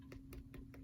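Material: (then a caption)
Rubber. Taps on the stiff, aged rubber body of a WWI German GM15 gas mask give four quiet, dull ticking knocks. The rubber has gone stiff with age, though the mask is otherwise in good condition with its original stamps.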